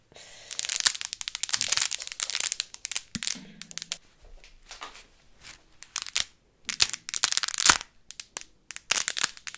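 A thick bundle of dry, uncooked spaghetti is gripped in both fists and bent, twisted and crushed by hand until the strands crack. Dense bursts of bright, sharp crackling and snapping come in clusters, with quieter crinkling between them and brief lulls around the middle of the clip.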